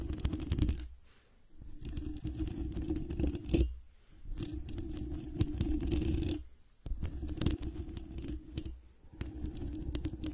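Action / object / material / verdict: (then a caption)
scrape / knit fabric microphone cover / fabric / none. Long red nails scratch and tap a medium-sized microphone with a dark knit mesh fabric cover held up close. The result is dense, close-up bursts of scratchy, rustling friction with a heavy low rumble and bright ticks on top. The bursts are separated by brief quiet pauses.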